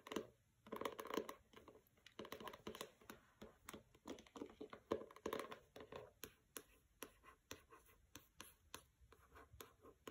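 Long red nails scratch the matte paper dust jacket of a pink hardcover book, "Don't Overthink It," lying on a carpet with a fabric bookmark untouched beside it. The result is a quiet run of dry, rapid scratching strokes in short bursts, centered in the midrange with little low end and brief bright clicks that die away almost instantly.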